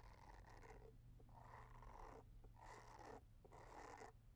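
A small white plastic facial cleansing brush with a short handle and a round head of dense white bristles is held in one hand while long dark-painted nails scratch and tap its body and bristles. Soft, bristly scratching comes in several rasping bursts separated by brief pauses, over a steady low rumble that gives it a purring texture.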